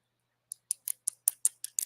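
Clear stones set in vintage brass screw-back earrings are tapped eight times in quick succession, each tap a sharp, high, bright click with almost no ring. The clicks sound like glass, not resin.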